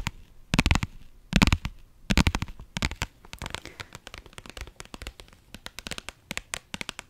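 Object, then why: Soft vinyl zip pouch. A small, flat, pink holographic faux-leather/vinyl zip pouch, soft and hollow, is held in both hands and scratched and tapped with long nails. Bursts of dry, crackly scratching come first, then give way to a run of quick, crisp taps with a low, hollow thump beneath the bright clicks.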